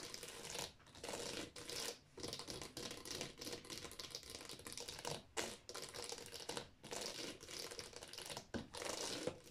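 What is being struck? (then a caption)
Plastic game cases in a drawer. Long fingernails tap and scratch rapidly along the spines of a row of hollow plastic Wii game cases in a drawer. The result is a dense, bright, crinkly scraping and clicking texture that comes in bursts separated by brief pauses.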